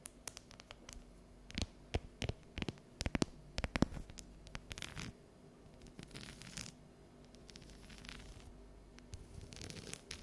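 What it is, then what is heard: Dark chocolate bar. Long yellow nails tap and scratch the ridged squares of a solid, unwrapped dark chocolate bar held upright and tilted. Sharp, dry clicks come at an irregular pace with almost no ring, followed by softer, scratchy scraping bursts over a faint low hum.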